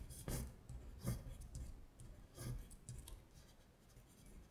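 Long stiletto acrylic nails trace the words on a thin printed paper worksheet of Korean colors lying flat on a glittery surface. The result is quiet, dry scratching strokes, with several louder swipes that flash up bright and fade quickly among softer rubbing.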